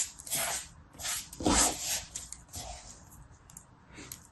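A hand-sized, solid lump of yellow and red kinetic sand on a blue mat is squeezed, crumbled and pressed by both hands' fingertips in a crushing, rubbing action. It makes soft, bright, hissing crunches that swell and fade in uneven bursts, loudest around the middle and trailing off quieter toward the end.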